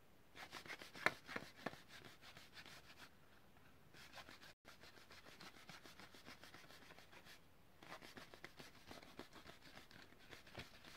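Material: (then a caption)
Plastic. Fingernails rub and scratch a long, hollow blister pack for a blue utility lighter, a clear plastic shell on a yellow card, held in both hands. The result is a quiet, dense, irregular scratchy crackle with bright plastic ticks. A few sharper clicks stand out near the start, and there is a brief silent gap midway.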